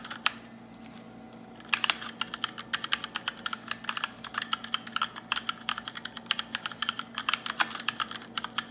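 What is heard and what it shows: A small 60% black RGB mechanical keyboard with plastic keycaps is typed on quickly using fingertips and short white-tipped nails, the hands wearing sheer black lace cuffs. After one sharp click and a brief pause, a fast, dense stream of bright, clacky keystrokes runs to the end over a faint steady low hum.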